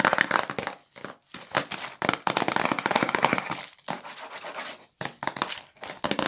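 A medium-sized, hollow cardboard Q-tips cotton swab box wrapped in cellophane is turned in the hands while long nails tap and scratch its wrapped sides. Dense, bright crinkling and scratching run in bursts, with brief quiet gaps between them.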